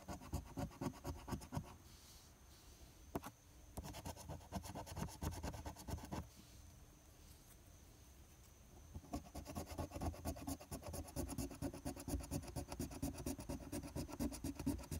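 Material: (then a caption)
Paper. A large silver coin scrapes the latex coating on a flat paper lottery scratch-off ticket (#025), making quick, rasping strokes. Brief pauses separate the bursts of scratching, near 2 seconds and again around 6 to 9 seconds.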